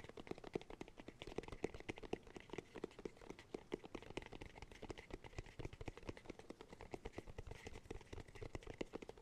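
A round, hollow cork cylinder is held horizontally in both hands while fingertips tap and scratch its top and edge. Dense, rapid, soft taps with a hollow, woody tone around 420 Hz blend with light scratching. Each tap is dry and stops almost at once.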